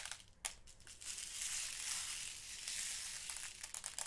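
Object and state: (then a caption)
Plastic box of glass seed beads being sifted. Fingers dig into and sift loose purple and blue glass seed beads in a small clear plastic storage box, rubbing the beads against each other and the plastic walls. The result is a quiet, bright, crunchy rustle that swells into a sustained gritty hiss, with sharper clicky bursts near the start and end.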